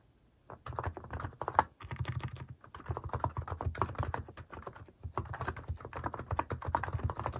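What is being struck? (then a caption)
Plastic mechanical keyboard keys. Fingertips type quickly on a cream plastic mechanical keyboard fitted with plastic cat and paw keycaps. The result is a dense run of short, deep, clacky key strikes, with a few brief pauses between bursts.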